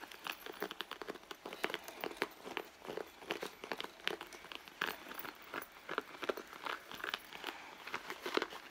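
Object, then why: Soft leather handbag. A hollow red soft leather handbag lies on a mat while both hands scratch and crumple its front leather with long blue nails. Dense crinkling and scratchy ticks come in quick bursts with bright, thin texture and almost no low end, steady throughout the clip.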